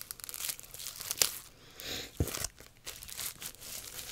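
Long nails scratch and tap a long English cucumber in tight plastic shrink wrap, crinkling the plastic. The sound is bright, dry crinkling and scratching with sharp, quick taps that die away almost instantly. One tap near the start stands out as loudest, and a duller, deeper tap follows partway through.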